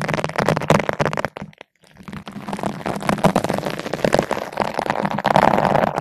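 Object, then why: Nylon bristle brush on a foam windscreen. A long bottle brush with green and white nylon bristles, held in both hands with long nails, is rubbed back and forth across the top of a large yellow-pink foam ball windscreen fitted over a microphone. It makes a dense, crackling, scratchy rustle with a warm midrange body. The sound drops away briefly near the middle before resuming steadily to the end.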